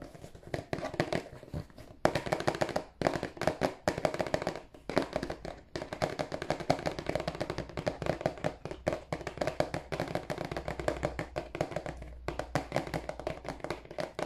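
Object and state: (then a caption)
Cardboard tissue box. Fast fingertip and nail taps on the face and edges of a rectangular, glossy, marble-printed cardboard tissue box, hollow and held in both hands. The dense, crisp, hollow clicks center in the midrange around 600 Hz and die away almost instantly. The rapid patter runs nearly nonstop, broken only by brief pauses.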